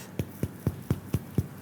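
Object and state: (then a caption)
Baked-through bread loaf, hollow. Six quick, hollow, drum-like taps on the bottom of a finished, turned-over pain de campagne sourdough loaf, each a short low thump around 117 Hz. The hollow sound shows the crumb is baked through rather than doughy or raw in the middle.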